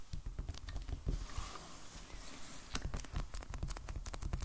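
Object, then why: Hardcover sketchbook in plastic shrink wrap. A medium black hardcover sketchbook, solid and still in its plastic shrink wrap with a paper band, lies on a wooden table and is tapped with the fingertips and short nails of both hands. Quick, soft, dull taps land in an uneven patter, mostly deep thuds with a light crinkly click from the wrap. Near the middle there is a brief smoother stretch of faint brushing against the plastic.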